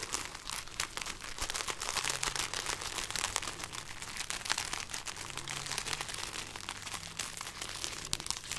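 A hanging string of dried red chili peppers is rubbed and crinkled between fingers and nails. It makes a dense, steady stream of dry, bright crackling and papery crunching for about eight seconds, with a faint low tone underneath.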